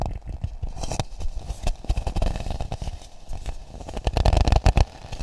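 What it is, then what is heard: Hollow coconut shell half. A hollow, empty, hand-sized half coconut shell with a polished brown exterior is cupped and tapped with fingertips and palm close to the mics. Many short, dull, low knocks and soft scrapes crackle in an uneven stream, with the loudest cluster of hollow thumps near the end.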